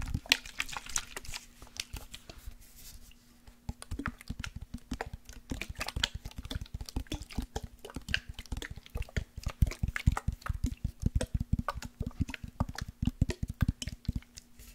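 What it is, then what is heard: Glass perfume bottle with liquid. A glass perfume bottle holding liquid is tapped rapidly and repeatedly, giving short, dull clicks with the liquid sloshing inside. A faint steady hum runs underneath throughout.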